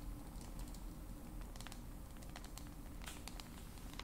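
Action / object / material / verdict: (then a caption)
tap / smartphone with glass screen and metal frame / glass / none. Long pointed acrylic nails tap and scratch the glass screen and edges of a black glass-and-metal smartphone held screen side up in both hands. Quiet, irregular, crisp clicking taps with bright, short ticks sit over a steady low rumble.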